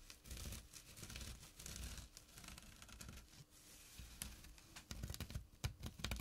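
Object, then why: Burlap drawstring pouch. Short nails scratch the coarse jute weave of a small flat burlap pouch with a drawstring. The result is a quiet, rough, dry rasp in uneven bursts, with a soft low rumble underneath and bright scratchy edges. The bursts grow sharper and more clipped toward the end.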